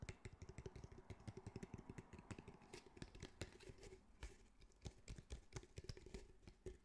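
A grey, roughly hand-sized cylindrical speaker, with woven fabric mesh over a hard, probably plastic, hollow body, is tapped and patted with the fingertips of both hands. It gives a rapid, uneven stream of soft, muffled low thumps with brief brighter clicks. Each tap dies away almost at once.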